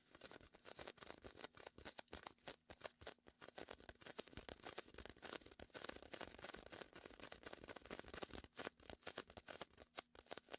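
Fingertips tap and pat the surface of a large, hollow, air-filled red-and-white inflatable PVC vinyl beach ball, and the palm sticks to it and peels away. The result is a dense run of quick, dry, short pats and sticky peeling crackles with a bright edge and little low end, all at a quiet level.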